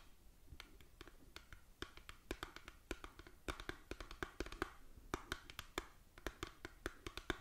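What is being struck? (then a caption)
Small printed cardboard box. Long dark nails tap on the front of a small, hollow, printed cardboard cosmetic box held close. The result is a quick, irregular series of sharp, dry clicks with a hollow mid-range knock and almost no ring, with faint scratchy rustling between taps.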